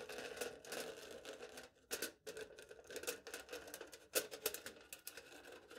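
A knife blade cuts and scratches across smooth aluminium foil stretched flat over a hollow cup. Quiet, rapid bursts of bright, crinkly rasping and scraping come in quick succession, with a faint hollow midrange tone from the cup and almost no low end.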